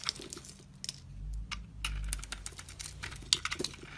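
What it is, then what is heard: Soap bar being shaved. A metal utility-knife blade scrapes thin shavings across the cut face of a solid, glittery blue soap bar. Quiet, dry, crisp scratches and ticks crackle bright and sharp, each dying out at once. A low, soft rumble swells twice underneath.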